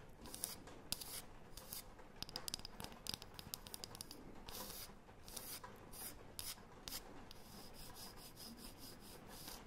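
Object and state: Wooden disc scratched with nails.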